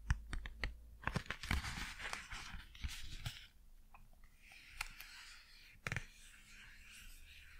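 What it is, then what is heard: Cardboard blister card tapped and scratched. Long acrylic nails tap and scratch a flat, printed cardboard Blu Tack blister card with a thin, hollow backing. A quick run of sharp, dry taps with hollow low thumps gives way to softer, hissing scratches across the card that crackle like crinkling packaging.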